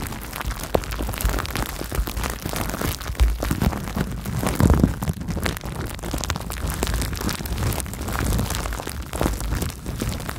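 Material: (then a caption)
Plastic. Clear plastic bubble wrap wrapped around a microphone is squeezed, crinkled and popped with fingertips and long nails. The result is a dense, continuous crackle of rustling and sharp pops, heavy in the low end, with a few louder bursts standing out along the way.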